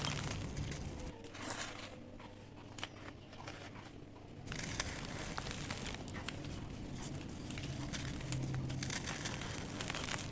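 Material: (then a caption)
Sand cement. Fingertips press, rub and crumble the surface of a grey mound of dry sand cement, breaking it into chunks, and then a hand picks up a solid palm-sized chunk of dry cement. Dense, dry crunching and crackling crumbles run throughout with bright gritty clicks. A low background hum is also present, and the sound grows fuller and steadier after the midpoint.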